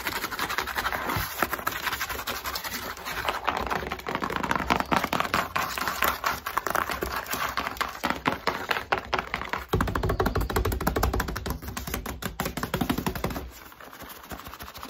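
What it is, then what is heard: Cardboard shipping box. Fingertips and long nails rapidly tap, rub and scratch the surface of a long, closed corrugated cardboard shipping box standing on a table. The result is a dense stream of dry, papery scratches and hollow taps, and the sound grows softer near the end.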